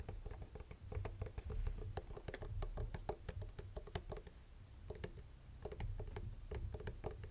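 Fingernails rapidly tap and scratch on the metal case and front of a small, hollow vintage twin-bell alarm clock held up in the hand. The result is a quick, irregular patter of dry clicks and light scrapes with a low, hollow thump beneath them. Each tap fades almost at once, with little ring.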